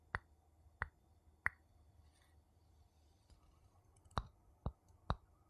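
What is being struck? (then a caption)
Glass object and wooden spoon. A wooden spoon taps on a glass object seven times, three spaced taps, a pause of about two and a half seconds, then four quicker ones. Each tap is a short, dry click with a brief tone near 1.9 kHz that dies almost at once over a faint low hum.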